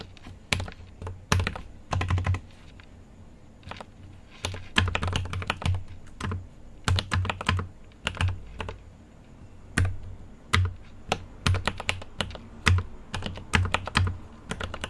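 Fingertips of both hands type on a mechanical keyboard with an aluminium case, plastic keycaps and lit switches. Irregular bursts of quick keystrokes are separated by short pauses. Each press has a deep, low thock with a bright clicky top and decays quickly.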